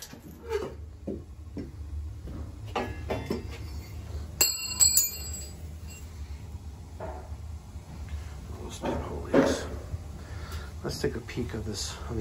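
A cut section of thin-walled domestic copper water tubing, corroded inside and riddled with pinhole leaks, is handled and dropped. It gives off a hollow, bell-like metallic clink with high ringing tones over a low background rumble, a hollow sound that marks the pipe as badly corroded.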